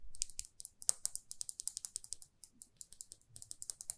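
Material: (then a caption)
Lacquered metal. Long fingernails tap and scratch a small glossy red lacquered lipstick tube with a silver band, held in one hand. About 25 quick, crisp, bright clicks follow one another with no ringing, over soft low rustling, at a quiet level.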